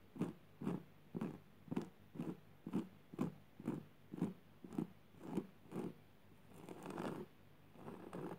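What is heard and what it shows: Long purple nails scratch back and forth across a flat, coarse jute burlap surface, producing a steady series of twelve short, dry, raspy strokes. These are followed by slower, longer, smeared scrapes across the weave toward the end.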